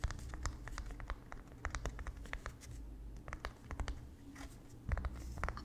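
A small white painter's canvas stretched over a wooden frame, hollow behind the fabric, is tapped and scratched with fingertips and nails. Quick, dry taps and scratchy strokes fire in irregular clusters, each one brief with almost no ring. A soft, low, hollow body sits under the clicks against a steady low hum.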